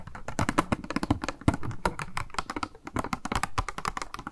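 Long nails tap rapidly on a small, hollow, clear pink plastic blister package with a makeup sponge inside, held in both hands. The taps are dry, quick, and clicky, with a hollow low thump under each one. They fall in an irregular, continuous patter that dies out instantly with no ring.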